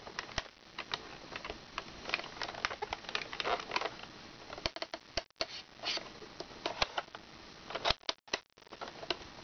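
Long red nails tap quickly on the laminated clock pages and plastic button area of an open plastic toy activity book. The sound is a dense, irregular run of short, bright clicks and light scratchy ticks with almost no low end, broken by a couple of brief pauses near the end.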